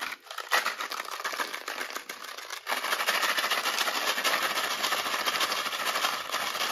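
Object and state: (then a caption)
Plastic box of metal eyelets. A small clear plastic box filled with metal eyelets is tapped with long nails and then shaken so the eyelets rattle inside. Quick, bright clicking taps give way to a denser, steady metallic rattle with almost no low end.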